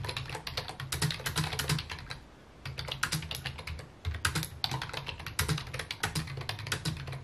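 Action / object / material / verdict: tap / plastic computer keyboard / plastic / none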